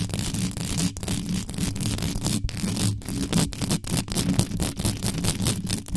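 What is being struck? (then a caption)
Metal mesh microphone grille. Extra-long yellow nails scratch fast and hard across the mesh grille of a black metal USB microphone, working over the top and sides with no cover on. The result is a dense, continuous scraping and rustling noise with a heavy low-end rumble and a bright hiss, broken by brief, sharp gaps as the nails lift and strike again.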